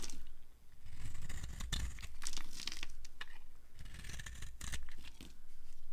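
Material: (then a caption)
Soap. A hand-sized, dry, orange and white striped bar of soap is held in the palm and shaved with a short flat blade, and the curls pile up on a wooden surface. Crisp, dry scraping and tearing strokes come one after another over a steady low rumble, with brief bright crinkles as the shavings peel away.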